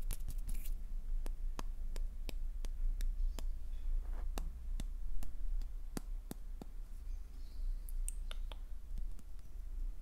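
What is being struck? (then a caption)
Small wax number candle with glittery surface. Fingernails tap and scratch the glittery surface of a small, solid, pink glitter-coated wax number 9 candle. Quick, sharp clicks repeat irregularly over a soft scratching texture and a steady low hum.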